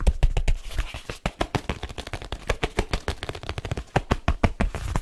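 Fingertips and nails tap quickly over the cover and edges of a black leather case held at an angle. The result is a fast, busy patter of short, dry taps with a deep thud under each hit and brief, scratchy top edges.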